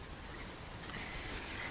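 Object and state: Nothing is struck.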